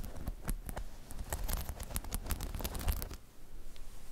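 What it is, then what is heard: Spiky rubber balance pod. Long chrome nails tap on a hollow, spiky rubber half-dome balance pod, then grip and scratch its sides. Soft, dull taps and bright, dry scratching crackles fill the first three seconds before fading to a quiet hush.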